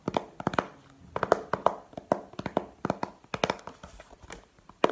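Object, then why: Plastic video game case. Long painted nails tap the face and edges of a small, hollow, clear plastic video game case held in the hand. About twenty quick, dry taps come in uneven bursts, with a light hollow click centered in the midrange. Each tap dies away almost at once.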